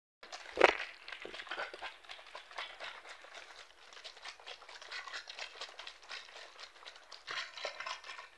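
Fingertips and short nails tap and squeeze the thin walls of a hollow, mostly empty clear PET plastic water bottle of about 1.5 L with a red cap, held in hands over a patterned cloth. A sharp tap rings out early, followed by a steady stream of quick, dry plastic clicks and crinkles with almost no low end, and a denser crinkling burst near the end.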